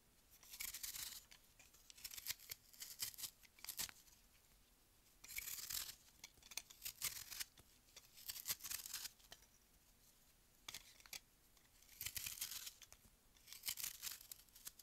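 A palm-sized block of solid frozen white melamine foam magic eraser, held in the hand, is scraped and carved with a metal utility-knife blade, and the shavings pile up on the table. Quiet, bright, crisp scraping comes in short bursts of rasping strokes with brief pauses between them, with almost no low end.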